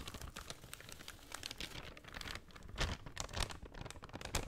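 Long nails scratch and crinkle a folded brown kraft paper shopping bag, making a steady run of quiet, dry rustles and crackles. Brighter, sharper scratches stand out now and then over a soft low rumble.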